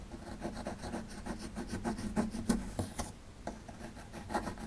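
A metal pick tool scrapes at a small solid plaster excavation block held in the hand. Quick, uneven strokes produce a dry, gritty rasping with short scratchy bursts that stop almost at once. The scraping keeps up a steady rhythm throughout.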